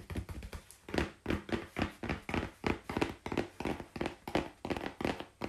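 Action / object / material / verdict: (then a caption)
tap / corrugated cardboard sheet / cardboard / none. Long pink-painted fingernails tap quickly on a flat brown corrugated cardboard sheet held at an angle on a lap. The result is a fast, somewhat irregular run of dry, papery clicks, each with a soft low thump and a very short decay.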